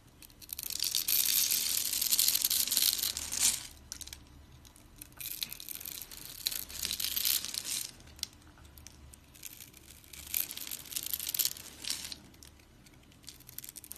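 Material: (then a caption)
Soap. A utility blade scrapes crunchy cubes off a solid, rounded, pre-scored dry pink soap bar held in the palm. Bright, crackling crunches come in three bursts, the first longest and loudest, with quiet pauses between. The sound is almost entirely high and crisp, with little low end.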